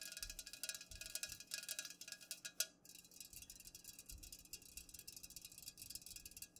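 Long fingernails on both hands rapidly tap the sides of an unopened, full Pepsi aluminum can standing upright. The result is a quiet, dense stream of bright, clicky taps with very short ring, plus one sharper, louder tap partway through.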